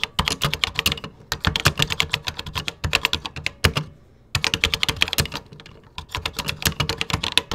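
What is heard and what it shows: Fingertips type quickly on a vintage plastic computer keyboard with cream plastic keycaps. The result is bright, sharp clicks with a light low thud beneath them, and each keystroke dies away almost instantly. The typing comes in fast bursts, with a brief pause near four seconds and a quieter stretch just before six seconds.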